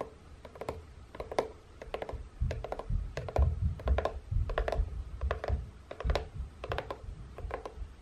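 Long painted nails tap on the end flap of a hollow, printed corrugated cardboard box. The taps come as quick, irregular clusters of short, dry clicks over a soft, hollow low thump. Each tap dies away almost at once.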